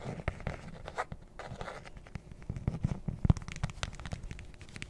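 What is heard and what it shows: A closed, hollow, rectangular black hard-shell zippered case is scratched and tapped with long nails along its top and face, with the zipper edge likely scratched too. Quick dry taps and rough scratching strokes come in an uneven stream, sounding dull and low with almost no ring.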